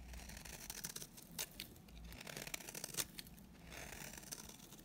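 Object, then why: Bar of soap shaved with a blade. A solid, dry white bar soap held in the hand is shaved with a utility knife blade into flaky curls. The result is quiet, bright, crisp scraping and crackling, with a few sharper snaps standing out from the steady rasp.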